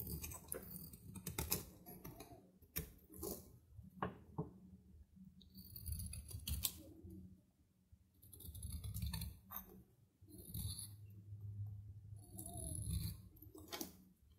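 A metal knife shaves flaky curls off a solid, dry soap block with a red printed logo, held in the hand. The clip is a run of crisp, bright scraping and cutting sounds in uneven bursts, with short quiet pauses and a low rumble underneath.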